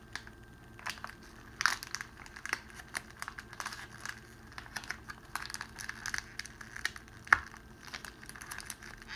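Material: Cellophane.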